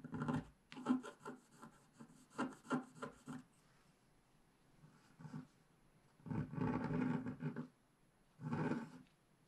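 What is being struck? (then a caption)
Scratch art paper sheet and wooden stylus. A wooden stylus scrapes broad areas of the black layer on the left side of a black scratch art page to reveal a tree trunk. Short, rough rasping strokes come in uneven bursts, with longer quiet pauses between them. The scratching is soft and dry, centered in the low-mid range with little bright content.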